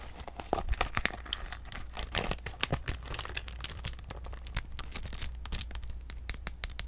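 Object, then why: Clear plastic PVC handbag. A small, clear, iridescent holographic PVC handbag with a gold chain, hollow and empty, is squeezed and scratched with long nails. It gives dense, bright crinkling and crackling with sharp, quickly fading snaps over a steady low hum.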